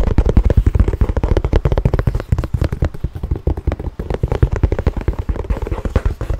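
A tan leather handbag held close to the microphone is tapped and scratched with fingernails. The result is a rapid, continuous run of short, dull thumps and scrapes that die away almost instantly. The sound is heavy in the low end, with very little brightness.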